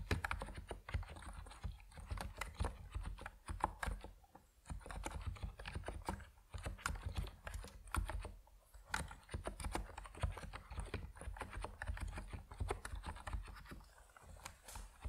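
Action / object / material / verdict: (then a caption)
tap / plastic mechanical keyboard with PBT keycaps / plastic / none. Fingertips type steadily on an Epomaker NiZ Plum Atom 68, a compact plastic mechanical keyboard with white and purple PBT keycaps. The result is a continuous stream of short, dry, clacky keystrokes with a low, thocky body and quick decay. Brief pauses break up the rhythm.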